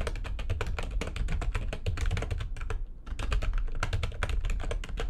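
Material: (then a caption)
Plastic. Fast typing with long nails and fingertips on a full-size plastic computer keyboard with white backlighting and a hollow housing. A dense stream of quick, short clicks rides over a deep, hollow thump from the housing, with a brief pause just before the three-second mark before the typing resumes.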